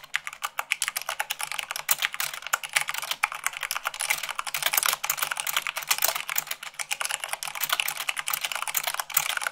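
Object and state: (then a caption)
Mechanical keyboard being typed on. Fingertips and long nails type fast, around 98 words per minute, on a mechanical keyboard with white plastic keycaps on a black base. The result is a dense, steady stream of sharp, bright plastic clicks and clacks with almost no low end and no ring after each keystroke.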